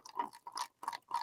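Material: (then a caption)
Eggnog. A carton of very thick eggnog is shaken in four quick bursts, giving dull, thick sloshing thuds centred around 1 kHz that sound almost like ice knocking inside. Only liquid is in the carton, and the heavy sound comes from how thick the eggnog is.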